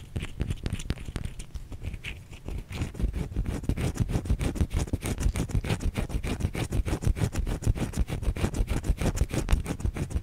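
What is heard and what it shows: Long fingernails scratch a white solid bar of soap held in the hand. A quick, steady run of short, dry scratching strokes continues throughout, each one stopping at once with a muffled, low-heavy body, growing slightly busier and louder toward the end.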